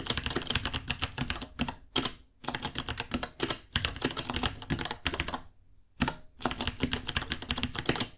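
Fingertips type rapidly on a white 66-key mechanical keyboard, about 30 cm long, with plastic keycaps, Gateron Brown switches and a hollow case. Its bursts of sharp, bright clacks carry a hollow low thump, with brief pauses near 2.3 s and between 5.5 and 6 s.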